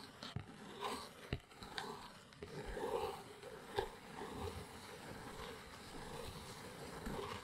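Long acrylic nails scratch and tap the top of a small brown cardboard box resting on a rug. Quiet, dry papery scratching with a midrange hum runs throughout, broken by sharp, crisp taps that stop almost instantly.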